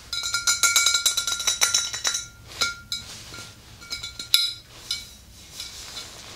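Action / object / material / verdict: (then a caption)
tap / glass swing-top bottle with liquid / glass / none. Long green nails tap the sides of a tall, clear glass swing-top bottle full of pale liquid. A rapid flurry of bright, high clinks with short ringing tones comes in the first two seconds, then slows to sparser, scattered taps.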